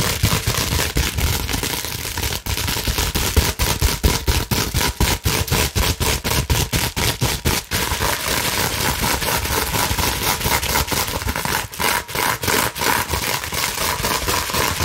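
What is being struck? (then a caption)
Plastic bubble wrap sheet. Long nails scratch quickly across a clear plastic bubble wrap sheet held in front of the chest. The result is a dense, steady stream of bright, crackling scrapes and irregular rapid clicks over a low rumbling body.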